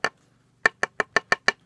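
A finished knife sheath for a Kershaw 2220, made of three layers of wet-formed leather that were stitched, epoxied, clamped overnight and sanded, is tapped seven times. The taps are sharp, dry, wood-like knocks with almost no ring, one on its own and then a quick run of six. The woody sound shows the glued leather is hard and solidly bonded.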